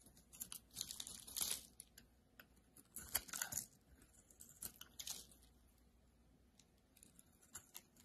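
A solid rectangular blue-and-white marbled bar of soap, held in the hand, is scraped and cut with a metal utility-knife blade. Quiet, crisp, bright scraping and shaving sounds come in short bursts separated by near-silent pauses.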